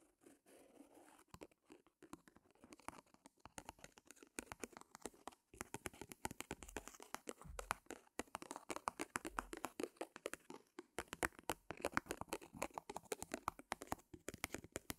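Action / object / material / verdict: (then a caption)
scrape / stretched cotton canvas board / cotton canvas / none. Long nails and fingertips scratch and tap the taut front face of a small white primed cotton canvas board, a stretched canvas resting on a mini wooden easel. The sound is a quiet, dry stream of rapid crackly scratches and soft, sharp taps with a bright, papery texture and almost no ring. It starts sparser and grows busier after about five seconds.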